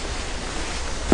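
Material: Nothing is struck.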